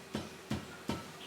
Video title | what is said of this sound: DIY Screen Printing: Basic Needs | the screen kind of bulges a little bit when I flick it. Doesn't really make that really like drum type sound with where it's reverberating